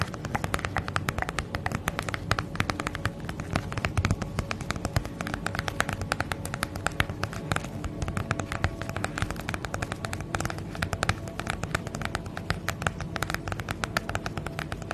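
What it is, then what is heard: Plastic bubble mailer. A holographic padded plastic bubble mailer is moved side to side while long nails tap and scratch across its surface. The result is a steady, dense stream of quick crinkling clicks and scratchy taps over a soft low rustle, holding an even level throughout.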